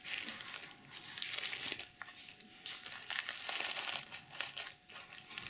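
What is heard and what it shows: Long nails scratch back and forth across a small zippered pouch covered in pink plastic sequins. The result is a steady run of bright, crinkling, rasping scrapes that swell and fade with each stroke, with almost no low end.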